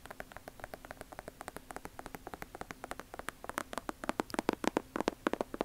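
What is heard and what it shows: Long nails scratch and tap the leather upper and sole edge of an Air Jordan 1 leather sneaker, held sole-side up. About 45 short, dry clicks come in a quick, uneven series over a faint steady tone near 300 Hz. The taps grow louder and sharper toward the end.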